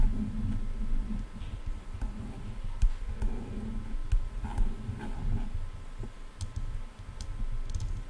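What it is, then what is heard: Plastic headphone ear cups tapped with nails. Long nails tap and click rapidly on hollow silver plastic headphone ear cups. Muffled, low thumps and scratchy rumble fill the sound, with short, sharp, bright clicks that die away almost instantly.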